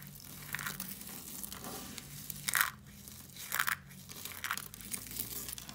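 Mixed-colour dry soap shavings on a foil sheet are grabbed and crushed in both fists by hands with long nails. The brittle flakes give dry, bright crunching and crackling in uneven bursts, with the loudest squeezes standing out above a steady rustle.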